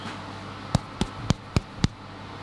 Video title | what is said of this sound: HOW TO MAKE DEVONSHIRE SPLITS | that sort of hollow sound is the sound that you're wanting to hear. So they are done